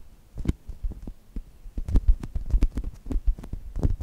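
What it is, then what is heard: Foam squishy toy. Fingertips with long nails repeatedly squeeze and scratch a brown polyurethane foam chocolate toast squishy held between the mics. The result is a quick, irregular run of soft, muffled low thumps, each with a brief dry crackle, and no ringing between them.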